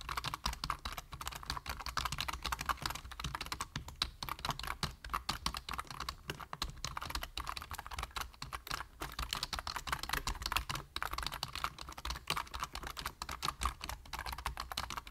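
Rapid key tapping on a full-size black plastic computer keyboard with a hollow body and plastic keys, typed on with the fingertips of both hands. A dense, continuous stream of short, clicky keystrokes with bright, sharp attacks dies away almost instantly over a steady low hum, with no pauses long enough to separate the strokes.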